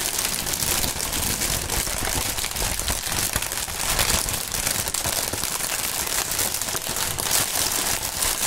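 A clear polyethylene air-cushion strip of plastic air pillow packaging with green print and hollow inflated chambers is held and crumpled between the fingertips of fingerless-gloved hands. The result is a steady, dense, bright crinkling and crackling that continues without pause, with only a light low-end rustle underneath.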